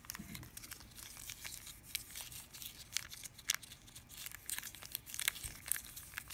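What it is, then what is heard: Plastic candy wrapper being crinkled. A small yellow printed plastic candy wrapper, held in the hand above a fruit bowl, is crinkled and rubbed between fingers with long dark-painted nails. The result is a quiet, steady stream of bright, crisp crackles and rustles with sharp little snaps and almost no low end.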